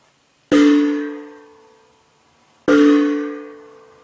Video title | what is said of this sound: Empty R22 jugs ring like a bell HVAC musical Freon | no sloshing noise. It's got a little bit of dampening to it.